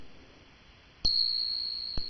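A real silver dollar coin is tapped and rings with a long, high, pure tuning-fork-like note, sustained after a sharp strike at about one second with a second tap near the end. The clear high ring marks it as genuine silver, unlike a fake's low note.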